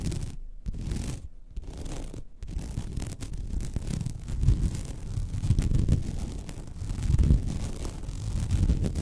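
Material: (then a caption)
Vinyl. Long red almond-shaped nails scratch across the textured weave of a flat, thin, white woven vinyl (PVC-coated mesh) placemat lying on a table. The result is a dense, low, muffled rasping that is broken by a few brief gaps early on, then runs continuously and swells and fades in loudness.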